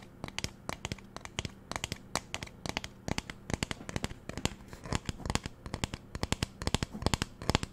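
Fingernails tap and scratch on the body of a magenta plastic spray bottle with a white trigger. A rapid, irregular stream of sharp, dry clicks and crinkly scratches with bright edges dies away instantly, over a faint steady low hum.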